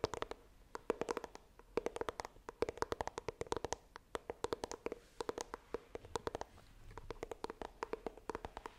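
Long nails tap and scratch the front of a small, hollow white iPhone retail box of coated cardboard held upright. The result is a rapid, uneven series of crisp, dry clicks with bright, high edges over a faint hollow tone near 450 Hz, each dying away almost instantly, with light scratching between the taps.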